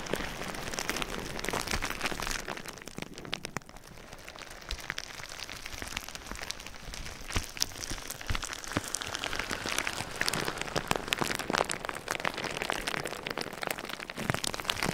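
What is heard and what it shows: Fingertips rub and scratch clear plastic bubble wrap wrapped around a binaural microphone. The result is a steady, dense crinkling and rustling full of sharp, bright crackles and tiny clicks. It sounds much like rain pattering on a surface, growing slightly busier and louder toward the end.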